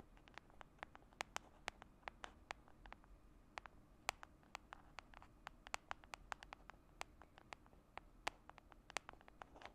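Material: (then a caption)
Plastic. Long manicured nails tap and scratch the white dotted lid of a small round plastic "Cake My Day" skincare jar held in one hand. Quick, irregular, bright clicks with no ring sound over a quiet, soft scratching hiss throughout the clip.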